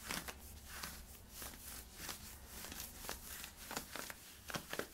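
Fingertips and nails scratch worn camo polyester-spandex stretch leggings at the hip and back. The result is a steady run of bright, dry scratching strokes with short sharp bursts, over a faint low hum.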